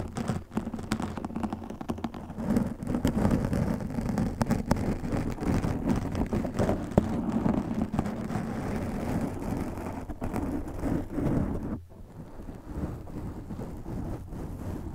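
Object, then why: Foam microphone windscreen. Fingernails scratch a black foam windscreen on a microphone, and cupped hands rub over it. The result is a dense, continuous rumbly crackle of handling noise, strongest in the low end and with no bright content. The noise runs steady for most of the clip, then drops to a quieter, softer rubbing near the end.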